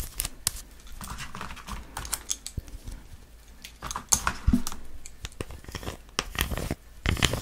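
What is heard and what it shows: Long nails tap and scratch the surface of a solid white chocolate bar with a triangular pattern, unwrapped, partly broken and held in both hands. A rapid, uneven string of sharp, dry clicks mixes with brief scratchy rasps that carry bright high detail. Each tap dies away almost instantly.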